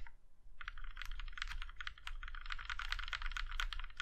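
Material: Aluminum.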